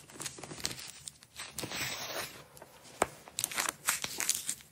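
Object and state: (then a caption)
Nylon velcro strap being peeled. Fingers with long nails roll and peel the layers of a blue hook-and-loop nylon velcro strap rolled into a coil on a table. The result is bright, crackly tearing and ripping rasps in short bursts, with a sharper peel near the three-second mark and a quick flurry of crisp rips toward the end.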